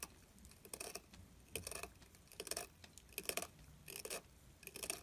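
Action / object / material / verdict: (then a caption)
scrape / glycerin soap bar carved with a metal tool / soap / none. A pointed metal carving tool scrapes and carves into the edge of a solid, translucent, palm-sized orange glycerin soap bar held in the fingers, making shavings. Quiet, bright, crisp scraping bursts repeat at a loose, uneven rhythm, each with a short dry crackle and almost no ring.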